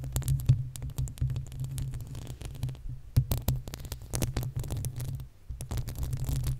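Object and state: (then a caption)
Metal microphone grille being scratched and tapped. Long acrylic nails scratch and tap the uncovered, hollow metal mesh grille of a desktop condenser microphone. The result is a dense, steady low rumble around 130 Hz, broken by many quick, sharp clicks that flash up into bright highs. A brief lull comes just past the five-second mark before the scratching resumes.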